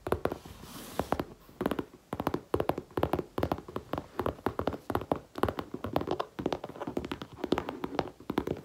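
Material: Faux leather.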